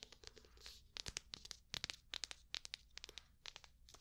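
Long painted nails tap and scratch across the smooth cover of a medium black hardcover notebook, held upright and closed. A quick, irregular series of crisp, dry clicks and scratchy swipes sounds bright and quiet, with little low end and each tap stopping instantly.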